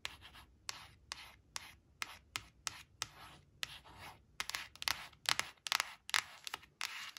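Long blue-painted nails scratch and trace over a small, flat, glossy cardstock flash card printed with a red crayon picture, which is lying on a woven fabric placemat. About twenty quick, bright, dry scratches come in an uneven rhythm, with softer rubbing strokes between them. They grow denser and louder toward the end.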